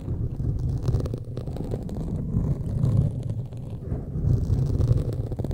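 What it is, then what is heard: Foam microphone windscreen being scratched. Pointed metal claw fingertip extensions scratch a black foam windscreen on a large microphone from both sides. The result is a dense, continuous low rumbling scrape, almost entirely deep bass with a faint hum-like tone around 110 Hz. It swells and fades in waves with no bright top end.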